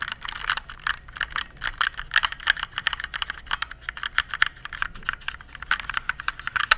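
Fingertips type on the keys of a compact RGB plastic mechanical keyboard held at an angle. A rapid, uneven run of short, dry clicks follows, each cutting off almost at once. The tone centers around 1.5 kHz with bright upper edges and very little low end.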